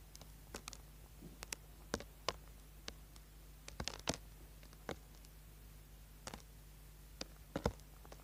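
A small solid orange bar of soap, held in the hand, is carved and scraped with a small tool, leaving shavings on the board. Short, sharp scratching clicks with bright tops come in irregular bursts over a steady low hum.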